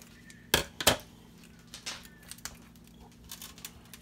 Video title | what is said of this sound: How to make the perfect turkey on a rotisserie | you can hear how crispy it is